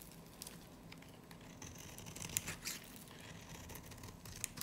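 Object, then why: Soap bar shaved with a knife blade. A solid, dry, varnished light green soap bar is held in the hand and shaved with a snap-off knife blade. The result is a quiet, continuous, crisp scraping and crackling with a bright, high hiss and a few sharper snaps near the middle and end.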